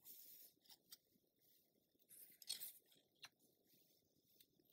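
An open glossy paper magazine lies flat while a long-nailed fingertip rubs and scratches along the page edge, then turns the page. Soft, bright, hissy scraping comes in bursts, with a louder crisp rustle near the middle and a few sharp little ticks. The sounds are faint and close, with almost no low end.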